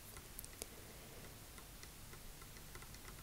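Long acrylic nail tips tap a large, solid, dark polished wooden tabletop in a slow, steady rhythm. The result is quiet, light, clock-like ticks with a bright click, sitting over a soft, low background hiss.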